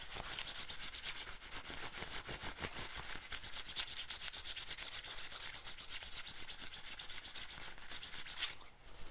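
Fingertips and nails scratch and rub the shiny nylon on the shoulder and chest of an olive-green padded nylon bomber jacket worn on the body. The result is a steady, bright, hissy scratching made of rapid, closely packed strokes. It briefly dips quieter near the end before resuming.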